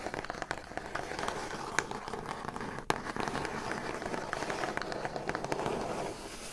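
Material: Cardboard.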